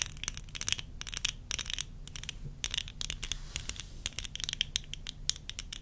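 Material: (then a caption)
Plastic. Long nails tap rapidly on the frame and lenses of worn tortoiseshell plastic eyeglasses. They make a dense run of sharp, bright clicks with very short ring over a faint low background hum.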